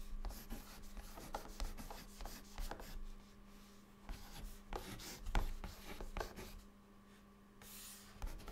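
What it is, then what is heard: Chalk writing on a chalkboard. A white chalk stick held in the fingertips writes words on a flat, dark, solid chalkboard surface. It makes quiet, dry scratching and tapping strokes with short bursts of bright grit. A steady low hum runs underneath.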